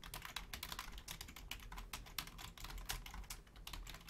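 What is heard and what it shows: Long painted nails and fingertips type quickly on the low-profile keys of a full-size black plastic Logitech keyboard. A fast, steady stream of bright, sharp clicks and clacks runs throughout over a low hum.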